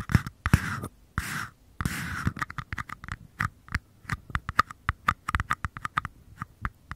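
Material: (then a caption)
Paper. Short nails scratch and tap two identical small, empty, hollow paper cups held near a Tascam microphone, rubbing across their bases and sides. A few dry, rasping scratches open the clip, then give way to a quick, uneven run of crisp, hollow taps with a papery mid-range knock and almost no ring.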